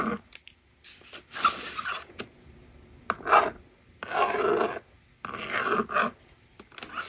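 Fingers slide the plastic eraser bar across a small plastic toy magnetic drawing board resting on a table, and a stylus writes numbers on it. The result is a series of short rasping and sliding strokes, with a midrange scratchy tone around 1.2 kHz and quiet gaps between bursts.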